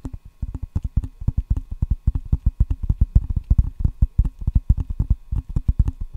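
Fingertips tap rapidly on the red rubber face of a solid wooden ping pong paddle held up to the mic with both hands. The result is a quick, uneven stream of short, dull, low thuds with no ring, like soft hoofbeats.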